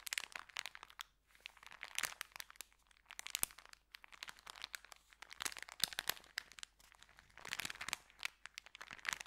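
A small folded white paper sandwich bag is held in both hands while the fingers bend and crinkle it. Bright, dry crackles and crunches come in dense bursts separated by short quiet gaps, with almost no low end and no ringing after each crackle.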